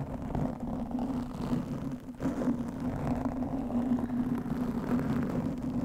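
Long nails of both hands scratch the black foam windscreen on a studio microphone. The result is a dense, continuous rustling scrape with a steady low tone around 230 Hz underneath. The sound dips briefly near the two-second mark before the scratching resumes.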